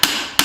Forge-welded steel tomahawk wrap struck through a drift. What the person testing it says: this sounds solid and it feels solid